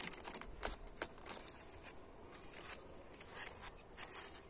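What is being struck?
Old brick wall.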